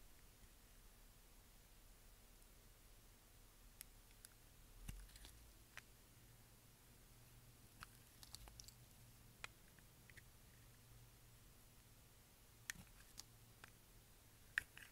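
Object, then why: Bar of soap cut with a knife. A brown translucent bar of dry soap, held in the hand, is shaved with a pink-handled utility knife, the blade scraping off thin curls. Quiet, dry, crisp clicks and short scrapes come at irregular intervals over a low, steady hum, each one brief and bright with almost no ring.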